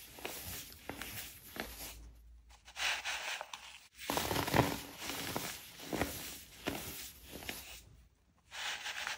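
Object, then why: Pressed baking soda pebbles crushed by fingertips. Fingertips crush and rub small, solid pastel pink, blue and purple pebbles of pressed baking soda into powder on a powder-covered surface, with a plastic scoop full of more pebbles beside them. Soft, dry crunches and gritty crackles come in uneven bursts with bright, fine texture, broken by short near-silent pauses.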